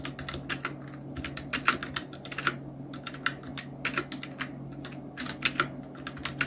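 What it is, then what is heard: Plastic mechanical keyboard. Continuous two-handed fingertip typing on a full-size black Nubwo Illution NK-70 mechanical keyboard with Outemu red switches, round plastic keycaps and blue backlight. Rapid, bright, sharp keystrokes clatter in uneven bursts, with a few louder strikes, over a steady low hum.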